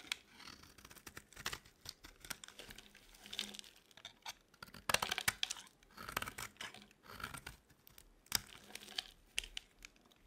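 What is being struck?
Bar of soap scraped with a metal blade.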